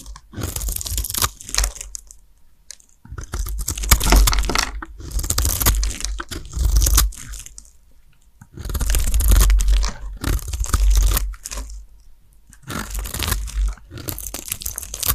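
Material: Soap.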